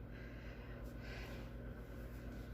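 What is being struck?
Nothing is struck.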